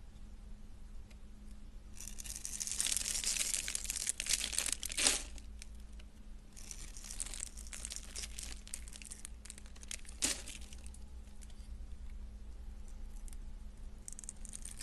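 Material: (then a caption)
Soap. A black utility knife blade scrapes and shaves thin curls off a hand-sized, solid, cream-coloured bar of soap with embossed lettering held in one hand, and the shavings pile up on a grey textured mat. Bright, dry, crinkly scraping comes in bursts over a steady low hum, with a couple of sharper cutting strokes standing out.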